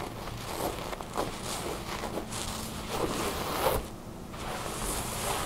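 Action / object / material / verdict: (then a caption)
scrape / thin soft fabric garment / fabric / none. Long blue nails scratch a thin, soft tan fabric garment bunched on a wooden table while hands rub and stretch it. The result is a steady, soft scratchy rustle with brief zip-like swishes and a bright hiss, rising and falling in short strokes.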